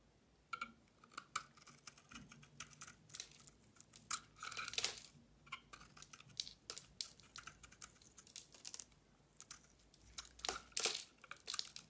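A metal utility-knife blade scrapes and carves flakes and curls off a solid oval bar of soap with a glossy green outer layer and a pink core, held in one hand with long dark nails. Quiet, bright, crisp scraping and crackling cuts come in a rapid, irregular series of short bursts with almost no low end. Each scrape dies away almost at once.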